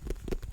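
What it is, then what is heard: Cinderella pumpkin. A white and orange striped Cinderella pumpkin is tapped, starting on its bottom, producing four soft, dull, low thuds with a hollow resonance around 430 Hz that die away almost instantly.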